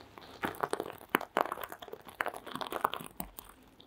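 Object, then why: Sequin-covered fabric mask with plastic sequins. Long green acrylic nails scratch and flip the plastic sequins of a small sequin-covered fabric mask resting on red faux fur. The result is a quick run of dry, crisp clicks and crinkly scrapes, bright and close, each stopping almost instantly.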